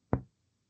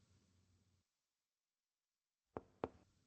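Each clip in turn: First: normal resonant lung on chest percussion. Second: tympanic percussion note over the stomach.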